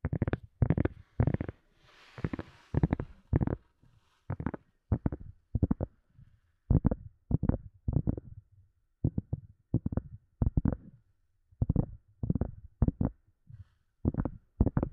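A small, round, translucent white silicone cup lid with a knob, hollow underneath, is tapped and scratched with fingernails. Quick clusters of dull, muffled thumps carry mostly low, bassy energy and stop dead with no ring, while a brief soft scratchy hiss rises near the two-second mark.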